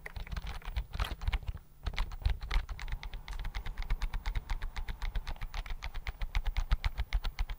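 Fingertips type rapidly on the keys of a slim white plastic computer keyboard held close in front of the microphone. The result is a fast, uneven stream of short, crisp key clicks with bright ticks over soft low thuds, continuing steadily through the clip.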